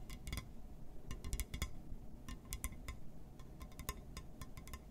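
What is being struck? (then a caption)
Glass surface. A glass surface is tapped and scratched, giving a quick series of bright, short clinks and ticks that die away almost instantly. A low, steady rumble sits underneath the taps throughout.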